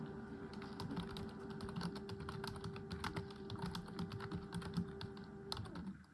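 A full-size black plastic computer keyboard on a wooden desk is typed on continuously with long acrylic nails and fingertips. The hollow plastic keys clatter in a rapid, dense stream of short clicks over a steady low hum. The hum drops away just before the end.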